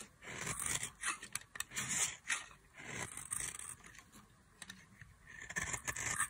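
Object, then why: Bar of soap shaved with a metal blade. A solid oval bar of dry yellow soap, held in long-nailed fingers, is shaved and carved with a metal craft knife blade. The blade makes dry, bright scraping strokes in uneven bursts, each fading quickly, with fine crackly shavings and little low-end weight.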